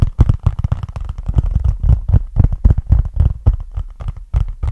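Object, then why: Small cardboard box. Fingertips tap and scratch a small, flat, hollow brown cardboard box with a barcode label, held close to the mic. The result is a quick, irregular run of dull, deep thumps that stop dead without ringing, with faint scratchy rustling between them.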